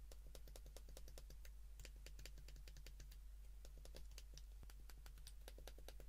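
Fingertips rapidly press the keys of a white plastic flip phone's keypad while it is held in the hands, producing a quick, uneven stream of small, sharp clicks with bright tops. A steady low hum sits underneath throughout, and the overall level stays quiet and even.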